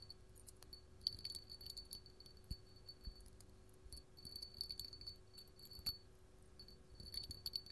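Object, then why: Small hobnail glass cup. An empty, small clear hollow glass hobnail candle holder with a bumpy hobnail surface is held in the hand and tapped and scratched with long gold metal filigree finger claws. Quick, bright glassy clicks and high ringing pings mix with soft, rattly scratching over the bumps, all at a quiet level. Each tap dies away almost at once, with a faint low hum underneath.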